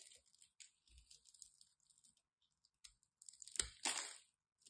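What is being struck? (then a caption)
Bar of soap cut with a craft knife. A solid orange and white striped bar of soap is held in the hand while its edge is chipped with a craft knife. Quiet, bright, crisp scraping and crackling come in short irregular bursts, building to louder crunching near the end.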